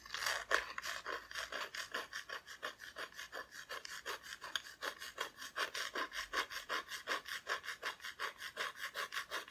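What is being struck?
Flat thin plywood cut-out decoration.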